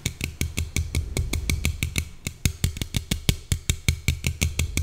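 Long painted nails tap and scratch along the side of a small, slim red Coca-Cola aluminium can held in one hand. A fast, steady run of short, dry taps is heard, each with a low hollow thump and a bright metallic click that dies away almost instantly, with faint scratching between the taps.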